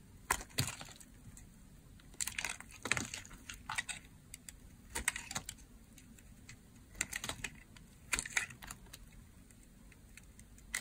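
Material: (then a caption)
Soap. A utility blade shaves slices off a hand-held, oval, blue marbled bar of dry soap. Bursts of short, dry, bright crunching and crackling snaps come in clusters separated by quiet pauses.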